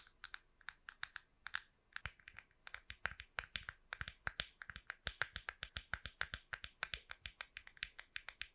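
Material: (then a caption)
Plastic. Long pink nails tap and scratch the curved shell of a small, hollow, smooth plastic wireless computer mouse held close to the microphone. About 50 quick, crisp, dry clicks land in an irregular, steady stream, bright and thin with almost no low end. Each click centres around 1.6 kHz and dies away almost instantly.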